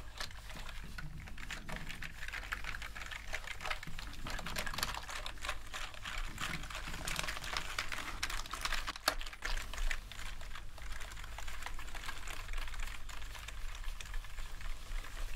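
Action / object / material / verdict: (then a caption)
scrape / plastic computer keyboard / plastic / none. A gloved hand sweeps a fluffy bristle brush quickly across the keys of a full-size black plastic gaming keyboard resting on a table. The result is a steady stream of soft, rapid key rattles and bright bristle swishes over a constant low hum.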